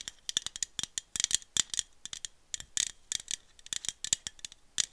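A small aluminum iced-coffee bottle is rotated in the hand, tapped with long metallic nails and shaken, giving a rattling sound. Quick, irregular clicks and taps come in bursts, bright and thin with almost no low end and a tonal edge near 3.5 kHz. Each tap dies away almost instantly.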